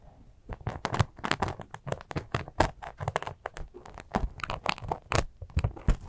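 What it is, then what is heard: Glitter sequin fabric pouch. Long acrylic nails scratch and squeeze a small, soft glitter sequin fabric cosmetic zipper pouch. Dense, rapid crinkly scratches and crunchy rustles arrive in quick irregular bursts, each with a low thump under bright, hissy edges, ending almost immediately with no ring.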